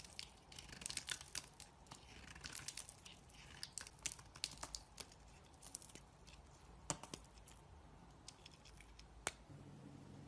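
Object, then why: Bar of soap. A thin remaining sliver of solid beige soap, held between fingers, is scraped and carved into thin pieces with a knife blade. Quiet, bright scraping and crisp crackling come in dense bursts, with sharper isolated snaps near the end.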